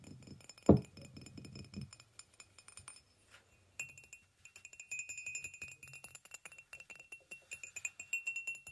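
A hollow white ceramic mug with a handle, resting on a blanket, is tapped with the fingernails of both hands. There is a louder knock early on, then a brief near-silence, followed by quick, steady clicky taps with a light, bright ring.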